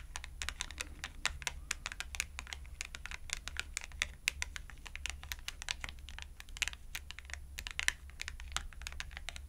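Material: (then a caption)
Cardboard. Long acrylic nails tap fast on the edge and faces of a thin, purple-edged cardstock clothing price tag held vertically between both hands. Dense, rapid, crisp clicks with a bright, papery snap die away almost instantly. A steady low hum runs underneath throughout.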